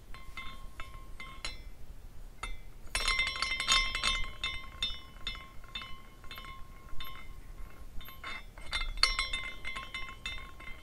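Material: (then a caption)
Glass. A small glass carousel figurine is twisted by the fingertips at its top finial and set spinning, so its hanging glass horses clink against the glass posts. The result is irregular, bright glassy tinkling with short ringing tones near 1 kHz and 2 kHz, busiest around three to four seconds in, over a faint low background hum.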